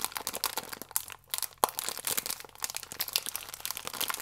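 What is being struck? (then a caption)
Thin plastic film wrapper around biscuits. A small Gran Cereale pack, a thin plastic film wrapper full of biscuits, is held and squeezed with the fingertips, crinkling the film. Dense, bright, crackly rustling runs throughout, pausing briefly just past one second before a sharp louder crackle, then continuing in quick irregular bursts with almost no low end.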